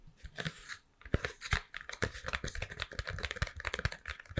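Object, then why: Triangular cardboard box. An empty Toblerone box, a long triangular printed cardboard chocolate box opened at one end, is held in both hands and tapped and scratched with long painted nails, with the foil-wrapped bar lying on the table. A quick run of dry, crisp taps and scratchy rustles follows, each with a low thud and a bright papery edge that stops almost at once.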